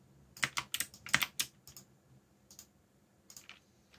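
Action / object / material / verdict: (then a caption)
tap / plastic mechanical keyboard / plastic / none. Fingertips type on a backlit mechanical keyboard with plastic keycaps, producing sharp, bright, clacky keystrokes with almost no ring. A quick irregular burst of keypresses comes in the first second and a half, then scattered single taps follow.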